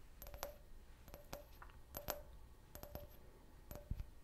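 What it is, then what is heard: Can-shaped glass tumbler tapped. Fingernails tap quickly on a clear, hollow, empty can-shaped glass beer glass with a printed logo. The taps come in small clusters of sharp, bright clicks, each leaving a brief glassy ring with a tone near 600 Hz over a quiet background.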